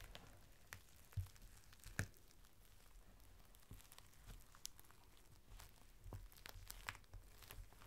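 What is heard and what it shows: A long, thin strip of clear plastic rain cover is folded into a small packet while fingers press the folds and crinkle them. The result is quiet, scattered crinkles and soft ticks over a low rumble, with a couple of louder crackles near the start.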